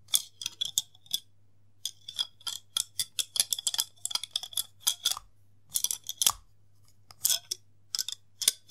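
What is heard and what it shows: A long, thin, hollow white plastic case with a hinged snap lid, resembling a thermometer or toothbrush case, is held in both hands while fingertips repeatedly open and snap the lid shut. The result is about thirty sharp, bright clicks in irregular bursts, centered near 3.5 kHz, each dying out almost instantly, over a faint steady low hum.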